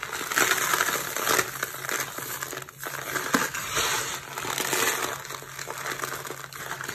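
A pile of small, dry, crumbly green soap shavings on a purple surface is scooped up and crushed between the fingertips and palms of bare hands. A steady, dense, bright crunching and crumbling runs throughout, with brief louder crackly bursts as the shavings break apart.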